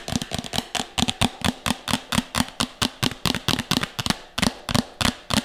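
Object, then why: Plastic bowl. A medium, empty, hollow red plastic bowl is held upside down over the mic and tapped fast with long nails and fingertips. It gives quick clusters of sharp, bright clicks over a hollow low thump, each dying away almost at once.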